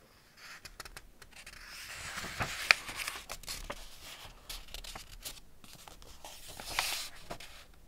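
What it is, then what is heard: Hardback paper picture book. Hands turn the paper pages of an open Ladybird hardback picture book and rub them with their fingertips. Bright, papery rustles and soft swishing swells are scattered with small crisp ticks, one sharper snap standing out partway through.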